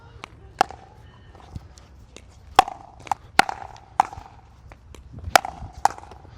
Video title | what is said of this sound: RPM Pickleball Paddle Review - Founded By Pro Player James Ignatowich | the paddle has a little more of that hollow sound, that thud sound